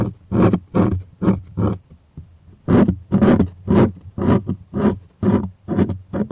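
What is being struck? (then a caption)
Stretched cotton canvas on a wooden frame. Fingertips and nails scratch across the surface of a stretched white cotton art canvas on a wooden frame, with hollow space behind it. The result is a series of rough, rasping scratch strokes with a hollow, low-heavy body, coming at an uneven rhythm and separated by short quiet gaps.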